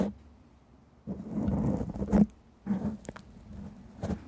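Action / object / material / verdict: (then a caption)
scrape / foam microphone windscreen / foam / none. Long painted nails of both hands scratch across a black foam microphone windscreen. The result is muffled, low, rustling scrapes that come in uneven bursts, with a faint steady hum underneath.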